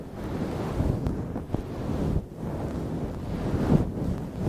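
Long nails and fingertips scratch and rub through a soft, fluffy grey-black synthetic fur windscreen over a microphone. The result is a steady, muffled, low rumbling whoosh with almost no high end, swelling and dipping slightly as the rubbing continues.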